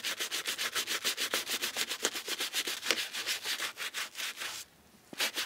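A brown AURORA SHOE&CO 'Middle English' leather shoe, held in a black-gloved hand, is scrubbed along its side and toe with a wooden-handled bristle brush and cleaning foam. Quick, bright, hissy brush strokes repeat at about three to four per second, with no low end. The scrubbing stops briefly near the end, then resumes for a few more strokes.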